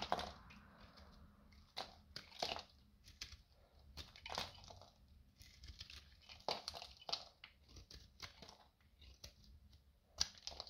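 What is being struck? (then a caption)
Bar soap carved with a metal knife. A metal utility knife shaves and carves thick curls and chunks off the face of a solid, dry, rectangular yellow bar soap held in the palm. Quiet, dry, bright scraping and crunching cuts come in irregular bursts, with a faint low hum underneath.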